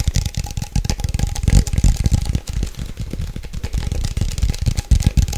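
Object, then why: Glass coffee jar with metal lid. A medium-size Nescafe instant coffee glass jar with a gold lid, apparently holding coffee, is held in both hands and tapped fast with long nails on the glass and the lid. Rapid, dense clicks and knocks blur into a steady low rattle with short, dry taps and a faint bright tick. There is no verdict on the jar.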